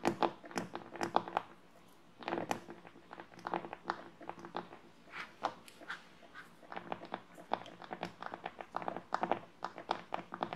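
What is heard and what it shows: Long nails and fingertips scratch and tap the surface of a flat, solid wooden board with printed lettering lying on a table, picked up by a small microphone clipped to one finger. Quick, crisp clicks and dry scratching come in uneven bursts with brief quiet gaps; each tap is short and dry with almost no ring, centred in the midrange with bright edges.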